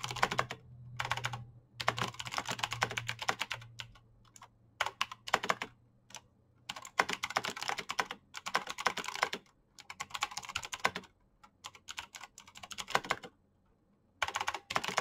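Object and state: Plastic mechanical keyboard.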